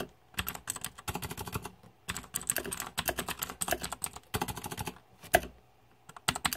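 Fingertips type on the plastic keycaps of a green-backlit Razer 2014 Deathadder mechanical keyboard, producing rapid bursts of crisp, bright clicking and clacking. Short pauses separate the bursts, and one sharper, louder clack stands out near the end before the typing resumes.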